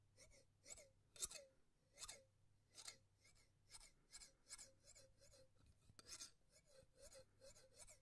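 Steel scissors with red handles are held close and worked in slow snipping and rasping motions, the blades sliding against each other. A steady run of bright, crisp metallic snips with short scraping swishes repeats over a faint low hum, each cut dying away almost instantly.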